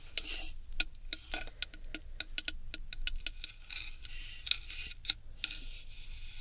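A tall hollow bamboo tube decorated with a gold sun and moon ornament is held in the hands and turned while long red nails tap on it in a loose rhythm. The result is a series of short, sharp, bright clicks with almost no ring, separated by a soft, hissy rustle.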